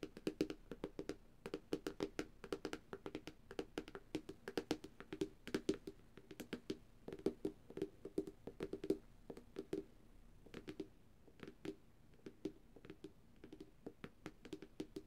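Long dark-painted nails of both hands tap rapidly on the reflective glass screen of a flat black Samsung tablet. The result is a quick, uneven stream of short, dry clicks with a faint hollow tone in the mid range and crisp bright edges, each dying away almost instantly.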